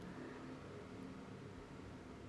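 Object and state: Nothing is struck.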